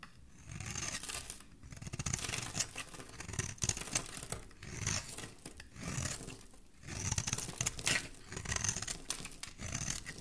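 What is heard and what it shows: A solid, oval pink bar of soap with a textured face is held in the hand and scraped and shaved with a metal utility blade. Dry, bright scraping strokes come in bursts separated by brief quiet gaps, with a soft low rasp under a crisp high hiss.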